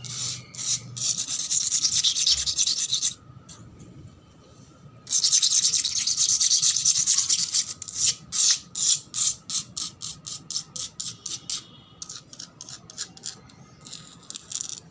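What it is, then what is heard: Wet concrete floor being scratched. Long black acrylic nails scratch and rub fast across a flat, solid concrete floor covered in soapy water, its worn red and grey paint under the nails. Bright, hissy wet rubbing comes in sustained bursts, with a quiet pause between them. The clip ends in a quick run of separate short scraping strokes.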